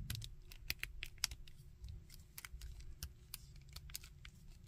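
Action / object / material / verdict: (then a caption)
tap / small painted plastic action figure / plastic / none. Fingertips and nails bend the solid jointed limbs of a small painted plastic Iron Man action figure, rubbing and tapping it. The result is a quick series of short, dry, bright clicks and ticks over a soft low rustle.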